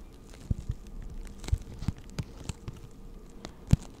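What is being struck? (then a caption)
Plastic blister pack holding markers. Long acrylic nails tap and scratch a hand-sized clear plastic blister pack that holds six pastel markers and is hollow around them. Soft, dull, low taps come at an irregular pace with faint crackly scratching between them. Each tap stops almost at once with no ring, and one near the end is a little louder.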